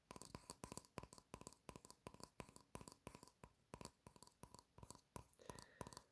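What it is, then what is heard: Vinyl collectible figure tapped. An Iron Man Funko Pop vinyl collectible figure is tapped repeatedly. The taps come as quick, dry clicks in small clusters with almost no ring, and each has a slight hollow tone. The tapping stays quiet and steady throughout.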